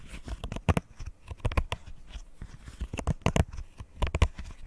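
Fingernails tap and scratch across the hollow bubbles and edge of a rainbow square silicone pop-it fidget toy. A quick, irregular series of dull, low thumps mixes with short, dry scratchy rasps that stop dead with no ring.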